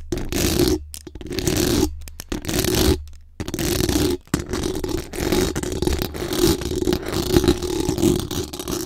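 Long acrylic nails from both hands scratch fast across the hollow metal mesh grille of a bare microphone. The result is a dense, rasping scrape with a strong mid-low tone around 340 Hz and a low rumble, broken by a few brief silent pauses. The strokes come in quick, uneven bursts.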